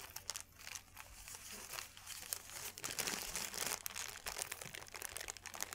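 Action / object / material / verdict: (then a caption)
scrape / paper sheet / paper / none. A thin white paper sheet is opened flat and then crushed into a ball with both hands, producing dense, bright crinkling and crackling. The crackles come in quick bursts that grow busier and louder toward the middle and stay steady to the end.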